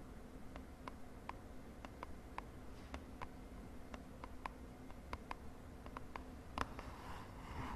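Long dark nails tap and scratch the sides of a small, hollow, purple printed cardboard lip gloss box held in hand over a bedsheet. About 18 quiet, crisp taps with a hollow ring near 1.1 kHz sound over a low background hum. A soft scratching rustle swells near the end.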